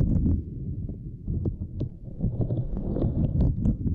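A fingertip and long nails tap and press the grid near the edge of a small, flat purple silicone lattice mat. The result is a quick, irregular run of soft, dull low thumps, mixed with occasional brief, bright clicks from the nails.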